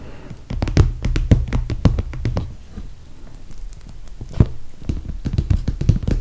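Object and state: Clear PVC toiletry bag.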